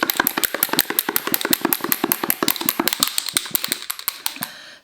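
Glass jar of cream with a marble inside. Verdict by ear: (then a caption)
Liquid. A small glass jar holding whipping cream, salt and a marble is shaken hard, and the marble clunks rapidly against the glass in a steady stream of sharp hits while the cream is still liquid. The clunking continues until it trails off at the end.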